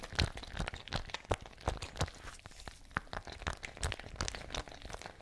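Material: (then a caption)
Fabric. A patterned fabric ice bag with a metal cap and water inside is shaken and squeezed close up. Irregular, rapid bursts of crunchy crinkling and soft low thumps follow one another, with brief bright transients and short, dry decays.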